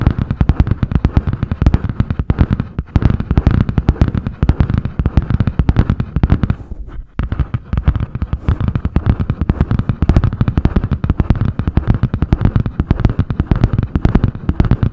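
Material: Cardboard.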